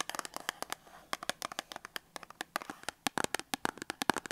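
A small printed cardboard box holding a Dettol soap bar is held in the hand and then set on a table while long acrylic nails tap and scratch it. About thirty quick, bright, dry clicks come in an uneven patter, with soft scratchy rustling between them around the middle. Each tap stops almost at once, with no ring.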